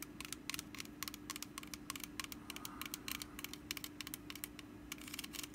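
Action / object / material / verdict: scrape / small woven wicker basket / wicker / none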